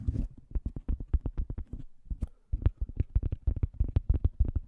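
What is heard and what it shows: Fingertips scratch and tap a thin, solid round cork coaster held beside and in front of the microphone. A brief scratchy rustle opens the clip, followed by a quick, uneven run of about two dozen soft, dry, deep thumps. Each thump dies away almost instantly, with almost no bright content.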